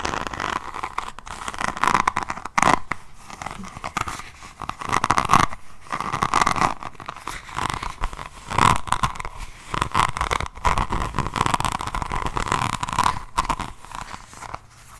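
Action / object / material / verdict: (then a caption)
scrape / resin rhinestone-covered notebook / resin / none. A diamond painting notebook with a resin rhinestone cover is held sideways while the long nails of both hands scratch over its bead surface. The result is a steady, dense stream of crunchy, crinkly scraping and clicking with a midrange focus, rising and falling in loud bursts.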